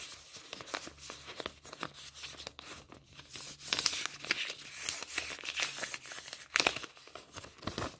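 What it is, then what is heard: Polymer banknotes being crinkled. A folded stack of polymer banknotes is held in both hands and flexed and crinkled with fingertips and nails. It makes a continuous bright, crackly crinkling with sharp, dense snaps and rustles that swell and fade over a faint, steady low hum.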